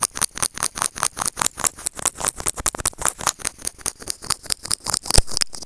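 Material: Plastic.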